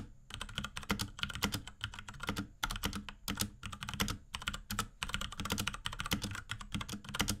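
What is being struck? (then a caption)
Plastic mechanical keyboard. A small pink Akko X Ducky 3084 mechanical keyboard with Cherry MX Brown switches, plastic keycaps and a plastic case is typed on rapidly with the fingertips of both hands. The result is a dense, steady stream of short, clacky keystrokes, each a bright tap over a low thock, with brief gaps between bursts of typing.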